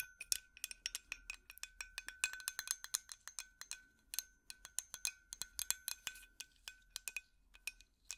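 A glass light bulb is tapped rapidly with plastic finger picks, giving a steady stream of light, bright clinks. Each tap is short and glassy, with a faint steady tone near 1.4 kHz ringing under the sharp high clicks.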